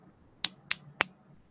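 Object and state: Baked polymer clay with a hard, stone-like tap.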